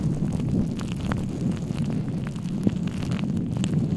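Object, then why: Foam microphone windscreen. Fingertips and palms rub, scratch and cup over the soft black foam windscreen on a microphone. The result is a steady, muffled low rumble with a faint hum, broken by small scratchy ticks and soft pops.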